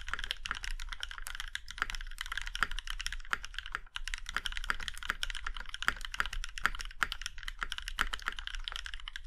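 A compact Iron 165 mechanical keyboard with a plum-red aluminum case and black keycaps is typed on with the fingertips of both hands. A quick, steady stream of short, crisp clacking taps has a mid-pitched tone around 1.4 kHz and bright edges, over a faint constant low rumble. Each keystroke dies away almost instantly.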